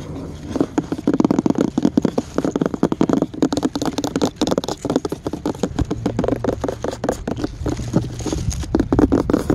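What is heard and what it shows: Fingernails scratch and tap fast along the grained surface of a solid, white-washed wooden plank sign with black script lettering, lying outdoors. Rapid, dry, closely spaced taps and scratchy rubs run throughout, with a dull low-mid tone and almost no ring.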